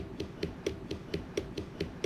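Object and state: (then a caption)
Ripe watermelon. A whole watermelon is tapped on one side while a hand rests on the other to feel the vibration, a way to check ripeness, since a stronger vibration means more water. Nine short, hollow, low-pitched thumps at a steady pace each die away almost at once. The watermelon is judged a good, ripe one.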